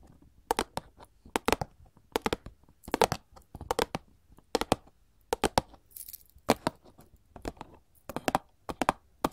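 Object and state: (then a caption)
Cardboard candy box. A printed paperboard chocolate box, held upright, is tapped with gold metal filigree claw nails. Quick, dry, clicky taps come in short bursts of two to four with brief pauses between them, each dying away almost instantly. Near the middle, a faint bright hiss briefly rises behind the tapping.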